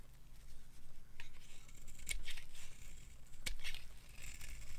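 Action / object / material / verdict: scrape / bar soap scraped with a knife blade / soap / none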